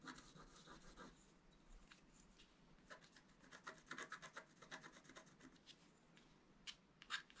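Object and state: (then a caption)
Scratch art card being scratched. A wooden stylus scratches the coating of a flat, black-coated scratch art paper card. Soft, dry rubbing and scratching strokes come in quick, uneven bursts with a bright, papery rasp and little low end. A few sharper scrapes stand out near the end.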